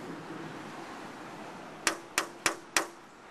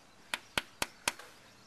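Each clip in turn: First: non-impact rated window. Second: impact-rated laminated glass window.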